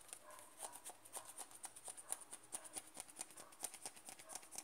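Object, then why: Plastic cream jar. Fingertips and nails tap and scratch the side and lid edge of a closed white plastic cream jar held upside down. The result is a quiet, rapid, uneven run of short, dry clicks with a bright, high tick on each hit, mixed with soft scratchy rustling.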